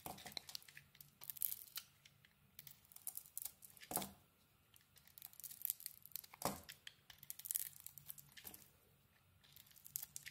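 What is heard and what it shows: A utility knife blade peels and carves a solid bar of soap, red on the outside and cream inside. Quiet, bright scraping and crisp crackling shaves come in irregular bursts, with a few longer, louder strokes standing out, over a faint low hum.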